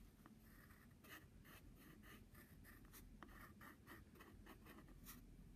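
A wooden pencil tip scratches wavy lines and letters across the surface of a flat brown padded paper envelope. Soft, dry scratching comes in short repeated strokes with a bright, papery rasp, over a steady low background hum.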